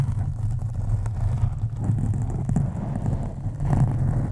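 Long acrylic nails on both hands scratch a black foam windscreen on a USB microphone. The result is a steady, deep, muffled rumbling scrape with slow swells in loudness and almost no high end.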